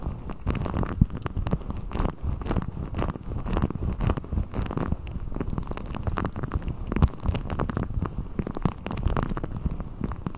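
A blue deflated rubber ball, its thin hollow skin stretched over the top of a microphone, is pulled and rubbed with fingertips. This produces a dense, continuous, low rumbling and squelching texture with quick, dull, overlapping rubs and almost no bright content.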